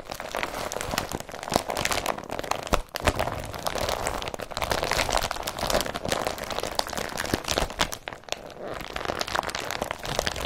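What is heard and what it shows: Hands grip, crinkle and rub the body of an empty blue woven polypropylene IKEA BRATTBY carrier bag with their fingertips. The glossy, tarp-like plastic gives dense, continuous crackling and crunching with bright, sharp edges. Brief louder crinkles stand out through most of the clip, and there are a couple of short pauses near 3 and 8.5 seconds.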